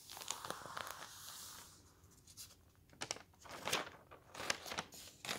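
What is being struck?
Paper newspaper.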